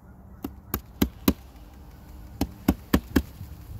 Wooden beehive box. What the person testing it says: give it a tap and listen up. And then you can hear that buzz